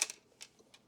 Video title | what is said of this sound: Ebay Data I/O 29B IC Chip Programmer Unboxing Vintage 1984 | that's a screw we have a screw floating in there